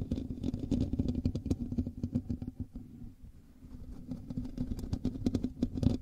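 Fingertips and nails of both hands scratch the hollow metal mesh grille of a black USB microphone. The result is a dense, irregular rasping and patter with a heavy low rumble, a steady low hum underneath, and sharp brief bright clicks. The scratching eases into a quieter stretch midway, then picks back up.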